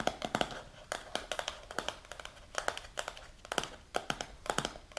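Long pink natural nails tap and scratch the silver lid and sides of a held, medium translucent plastic Baobab supplement jar with a paper label, filled with powder. A rapid, irregular series of short, bright clicky taps with a hollow mid tone near 700 Hz is heard. Soft scratchy rustling fills the quiet gaps between the taps.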